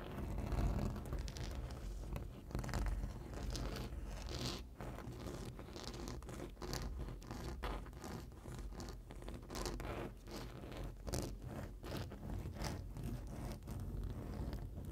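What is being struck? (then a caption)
Foam board sign edge. Long nails scratch and tap along the top edge of a large printed rigid foam board sign. The result is a steady stream of dry, rustling scrapes broken by quick, soft, low-heavy taps, with brief bright clicks scattered throughout.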